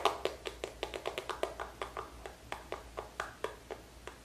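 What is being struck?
Small plastic squeeze tube.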